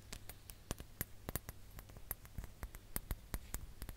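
A ribbed glass hourglass is held upright while long nails tap its lower bulb, giving a quick run of short, dry clicks with bright edges. The taps are soft and very brief, with no ring, over a low steady hum.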